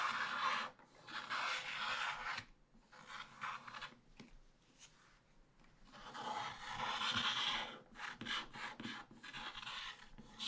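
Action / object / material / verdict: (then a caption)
scrape / coated scratch-art card scraped with a wooden stylus / coated paper / none. A wooden stick stylus scrapes across a black-coated scratch-art card page in a small spiral book, revealing the printed rooster and flowers underneath. Dry, bright rasping strokes come in bursts of quick back-and-forth scratching, separated by short quieter pauses.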